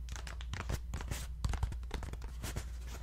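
A hollow, round, ribbed paper lantern is held in both hands and tapped and scratched with fingertips and nails. Quick, dry papery taps and crinkly scratches overlap in a steady, fast run over a constant low hum.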